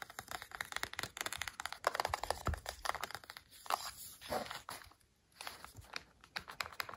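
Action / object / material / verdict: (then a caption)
tap / plastic TV remote control / plastic / none. Fingertips and nails rapidly tap and scratch the plastic sides and battery cover of a black, hollow, hand-sized plastic TV remote control lying on a sofa. The result is a fast, irregular stream of short, dry clicks and scratchy, crinkly rasps with a bright edge, broken by a brief quiet pause before the tapping resumes more softly.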